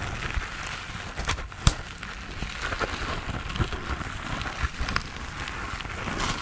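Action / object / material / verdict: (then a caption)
scrape / foam sponge on a foam handle / foam / none. Fingertips and nails tap and scratch the textured surface of a hand-sized grey foam sponge on a tan foam base, solid and porous, held in both hands close to the face. A steady, soft scratchy rustle runs throughout, broken by scattered short, dull taps and one sharper click early on.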